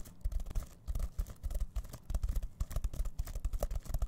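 Fingertips scratch and rub the sequins of a reversible rainbow plastic sequin pouch held in both hands. The result is a dense, rapid run of short, dry scratchy clicks and rustles with a soft, low, thumping body. The bursts rise and fall in uneven clusters with no ringing afterward.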